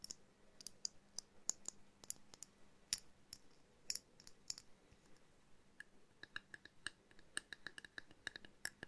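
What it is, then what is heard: Small glass jar ornament tapped with fingernails. Long painted nails tap a small hollow glass jar snow globe ornament, with a twine-wrapped base and a miniature winter scene inside, held in the hand. About thirty quiet, bright clicks and light ticks come in irregular bursts, each dying almost instantly. A faint low hum sits underneath.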